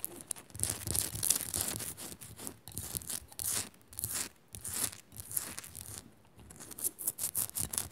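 Fingernails scratch fast across a Himalayan rock salt lamp, making dense, gritty, high-pitched rasping strokes in quick bursts with brief pauses between them. There is no talking, and the scratching has a bright, crisp edge with little low-end body.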